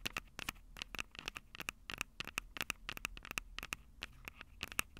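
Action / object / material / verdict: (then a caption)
tap / metal mesh microphone capsules on a small plastic recorder / metal mesh / none. Long purple acrylic nails rapidly tap and scratch the two small crossed metal mesh mic capsules of a Tascam DR-05 handheld recorder, which has a hollow plastic body. The result is a dense run of sharp, dry, bright clicks with scratchy crackle between them and a faint tinny ring in the upper mids. Each click dies away almost at once.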